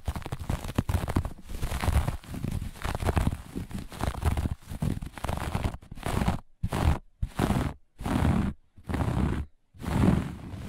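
Fingertips and long nails of both hands scratch and rub the pile of a flat looped grey-beige carpet. A dense, low, rasping scrape runs continuously at first, then breaks into separate rubbing strokes with short silences between them.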